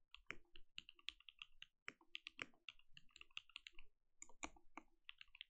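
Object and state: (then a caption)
Mechanical keyboard with plastic keycaps. A compact mechanical keyboard with plastic keycaps and a glowing case is typed on with the fingertips of both hands. The result is a quick, uneven stream of crisp, dry keystroke clicks with a bright top and a soft low thud beneath each press, fading almost instantly. A few brief pauses break up the typing.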